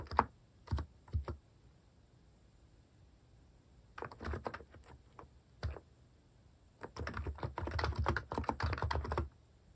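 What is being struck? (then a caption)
Keyboard with plastic keycaps. Fingertips type on the plastic keycaps of a mechanical keyboard, producing short, soft clicks with a low thud. The clicks come in bursts: a few keystrokes at the start, a cluster around four seconds, and a faster run of typing near the end, with quiet pauses between.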